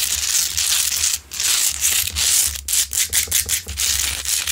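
Long nails scratch near the top of a large, solid, rough pink Himalayan salt rock lamp while it is lit. The result is a dense, bright, gritty scraping with little low end. The scraping surges and breaks into a quick run of short, crisp strokes near the end.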